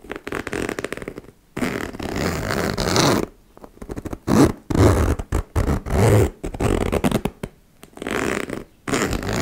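A metal zipper on a small turquoise embossed faux leather cosmetic pouch is opened and zipped closed by long-nailed fingers dragging the slider along the metal teeth. The sound is a series of raspy, buzzing zips of varying length, separated by brief pauses.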